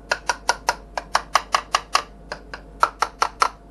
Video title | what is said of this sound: HBX RAMPAGE : le meilleur rapport qualité prix | ça sonne un peu moins plastique